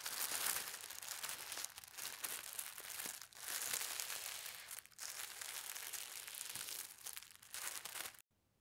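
Fingertips with long red nails press, rub and fold white tissue paper that has been folded into a small flat stack. The result is a steady, bright crinkling and rustling with brief dips between strokes, ending in sudden silence at the close.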